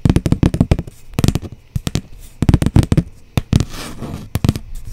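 Long blue almond-shaped nails tap a flat brown cardboard sheet held upright close by, making quick, irregular bursts of dull, low, papery thuds. The taps are mostly deep with little brightness and stop dead without ringing. There is a brief softer scratchy brushing near the end.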